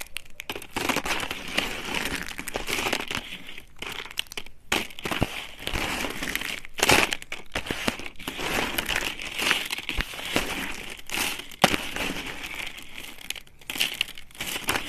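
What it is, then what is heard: Dry soap shards crushed. Thin, dry blue soap shards are crushed under the fingers and snapped between the fingertips. The result is a steady stream of bright, dry crunching and crinkling crackles, peaking in the upper midrange, broken by a few brief pauses.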